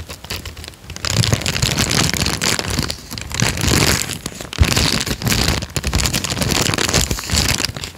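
A small folded peach paper sheet is rubbed and crinkled between the fingertips of both hands close to the microphone. Dense, bright crinkling and crackling swells in loud waves with brief quieter dips, carrying a close low rumble underneath.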